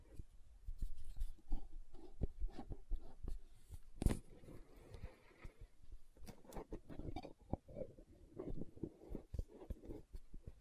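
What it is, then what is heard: Plastic gel jar. A large, round, green translucent plastic aloe vera gel jar filled with gel is held in the hands and tapped and scratched with long nails. Soft, dull, low thuds with almost no ring are heard, interspersed with quiet scratchy rustling throughout.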